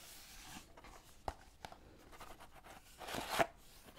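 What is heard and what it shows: Long painted nails tap and scratch the faces of a small, hollow green Lord Nelson cardboard tea box holding tea bags, held in both hands. Soft, dry scratching and brushing runs throughout, with two sharp, quickly fading taps and a louder, brighter scraping burst near the end.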